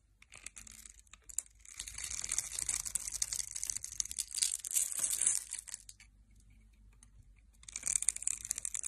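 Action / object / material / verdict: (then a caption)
scrape / bar of soap / soap / none. A metal blade scrapes across the grid-scored surface of a solid mint-green bar of soap held in the hand, and cubes fall away. Dense, bright, crisp crunching and crinkling swells over several seconds, fades to near silence, then returns near the end.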